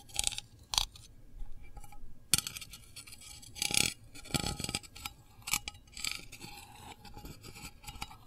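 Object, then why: Small metal candle tin lid. A long fingernail taps the lid of a small, round, printed metal candle tin, which is hollow and held in one hand. The result is a quiet, irregular run of bright, dry clicks and short scraping strokes, with almost no ring after each contact.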